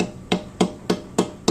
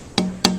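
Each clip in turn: First: responsive spruce guitar top with a defined tap tone. Second: guitar top tonewood with a good tap tone.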